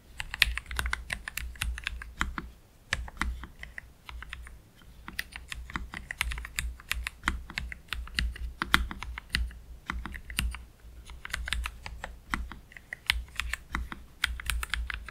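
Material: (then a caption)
Plastic. Both hands type slowly with their fingertips on a black low-profile Keychron K3 Pro mechanical keyboard with Gateron Red low-profile switches and PBT plastic keycaps, resting on a cloth deskmat. Quick, sharp, bright key clacks come in uneven bursts and short runs, with brief pauses between them. A steady low hum sits underneath throughout.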